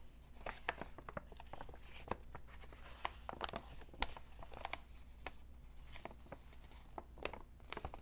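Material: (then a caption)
Paper. A medium-sized, hollow, empty white B.B. King's Blues Club paper shopping bag, folded flat, is handled, rubbed and tapped with fingertips and short painted nails. Quick, dry crinkles and sharp papery ticks follow in an uneven stream, each dying away almost at once. A steady low hum sits underneath.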